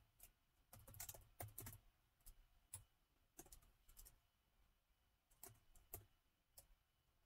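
Fingertips of both hands type on the black plastic keys of a gold laptop's keyboard. Soft, short clicks come in irregular bursts and clusters, each with a bright tick over a low thump and very little ring, against a quiet background.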